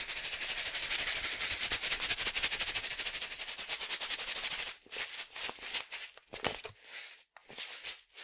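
A medium resealable green and yellow foil-lined plastic coffee pouch, filled with coffee, is shaken and tossed between the hands. A dense, bright, steady crinkling rattle fills the first four and a half seconds, then breaks into separate crunchy bursts with short quiet gaps.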